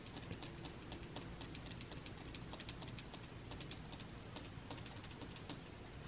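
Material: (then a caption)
Wood. A solid, flat, dark wooden shelf surface is tapped rapidly with several fingertips and nails, producing a steady stream of light, bright clicks and ticks. A constant low rumble sits underneath throughout.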